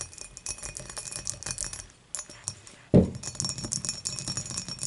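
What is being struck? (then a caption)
Glass beer mug. Long nails rapidly tap and scratch around the dimpled body of an empty glass beer mug lying on its side with its opening facing forward. Dense, bright clicking and scraping carry a low hollow resonance, with a brief quieter lull before a single louder, fuller knock near the 3-second mark, then the quick tapping resumes.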